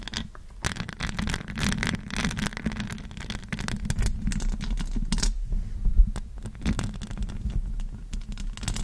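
Long acrylic nails tap and scratch the metal mesh grille of a silver USB microphone, producing rapid, dense clicks and scraping over a deep, boomy low-frequency rumble. The contact sounds are close and dry, with brief bursts of brighter scratching throughout.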